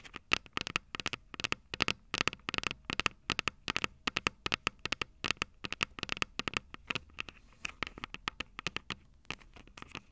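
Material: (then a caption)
Metal. Long purple nails tap and scratch the small, hollow, silver metal microphone capsules of a Tascam DR-05 recorder. The result is a fast, irregular run of dozens of sharp, bright clicks with a metallic ping near 2.6 kHz, each dying out almost instantly over a quiet background.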